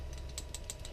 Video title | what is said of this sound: Lightning OTF Knife Review - Budget Out The Front Kife | When it's open, you can't shake it, but when it's closed, so you can hear that. You can shake it, you can hear it rattle.